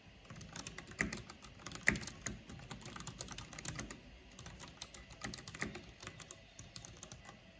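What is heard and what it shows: Rapid typing on a full-size black plastic mechanical computer keyboard with a purple backlight and hollow housing, struck with long painted fingernails and fingertips. A steady stream of sharp, bright clicks and clacks with a hollow low thud beneath them, the tone centered near 1.9 kHz. Two louder clacks stand out around the first and second seconds.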